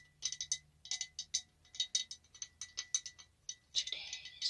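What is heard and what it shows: Fingers and nails tap a glass candle holder, making quick bursts of bright, clicky ticks that stop almost instantly. The taps come in uneven clusters, and a longer, hissy brushing sound closes the clip.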